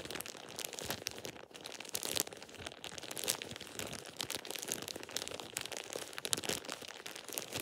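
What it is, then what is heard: Plastic shower cap. A thin light-green plastic shower cap with an elastic edge is held in both hands and crumpled and squeezed with fingertips and short painted nails. It produces a steady stream of dense, bright crinkling and crackling with almost no low end. The many sharp snaps decay instantly and keep up throughout the clip.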